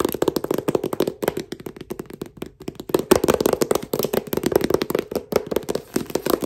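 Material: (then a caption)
Paper. A paperback book with a glossy dark cover and a solid stack of paper, held in hand, is tapped and clicked on the cover by fingertips wearing brass finger caps. A rapid, uneven stream of short, dry clicks and taps centers around 370 Hz, with little low rumble. Each hit dies away almost instantly with no ring.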